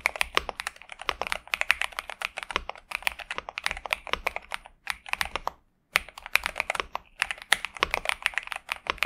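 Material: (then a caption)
Plastic. A pink and purple 65% Xinmeng M71 mechanical keyboard with TTC Superman switches and plastic keycaps rests on a desk mat while both hands type continuously with their fingertips. Rapid, bright, crisp key clacks with almost no low end follow one another, broken by a brief silent pause around six seconds before the typing resumes.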